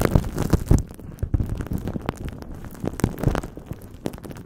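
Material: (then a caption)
Aluminium foil. Crumpled aluminum foil wrapped around a cylindrical shape is squeezed and crinkled by clasped hands and fingertips. Dense, irregular crackling pops in quick bursts over a low, rumbling body, with occasional bright crisp snaps. It is loudest in the first second, then settles into softer, steady crinkling with a few sharper flare-ups.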